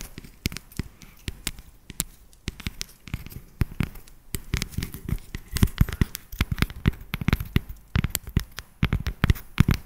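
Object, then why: Segmented dark chocolate bar. A solid, segmented dark chocolate bar is tapped and scratched along its ridges with long nails. Dense, rapid clicks and scratchy crackles come in irregular bursts throughout, dry and short with no ringing.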